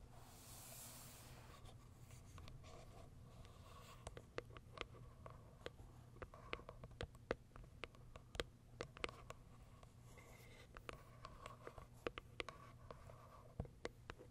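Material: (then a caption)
Cardboard, plastic. Long acrylic nails tap and scratch the plastic window and lid of a small white Kiara Sky cardboard box turned on its side. A soft, brief rustling swell opens the clip, then a long run of quiet, crisp clicks and light scratches plays over a steady low hum.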